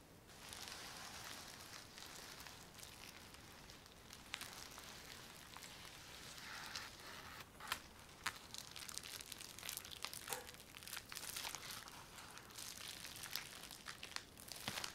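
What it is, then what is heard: Plastic bubble wrap sheet. Fingertips and nails of both hands tap and scratch a large flat sheet of clear plastic bubble wrap covering a styrofoam box. The result is a steady, bright crinkling hiss broken by many short, sharp ticks and taps.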